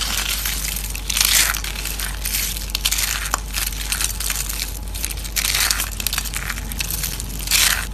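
Dried orange soap curls in a white plate are squeezed and crushed by hand into crumbs, producing a steady, dense crackling crunch with bright, high-pitched crinkles. Louder bursts of crushing rise around the first, fifth and final seconds over a constant low hum.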